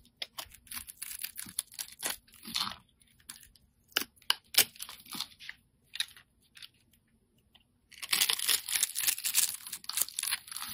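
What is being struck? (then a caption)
Solid soap bar cut with a blade. A steel utility blade cuts a grid into a hand-held, solid, round, multicolored soap puck in pastel colors and scrapes it into cubes. Crisp, dry, crunchy scrapes and short tearing strokes come in irregular bursts with brief pauses, each ending almost instantly. In the last few seconds they merge into a denser, brighter stretch of continuous scraping.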